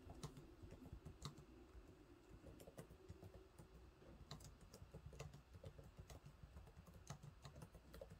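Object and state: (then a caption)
Plastic laptop keyboard being typed on. Fingertips type steadily on the low-profile plastic keys of a silver laptop keyboard, making a quiet run of repeated taps. Each keystroke is a soft, dull thud with a short, bright click on top that dies away almost at once.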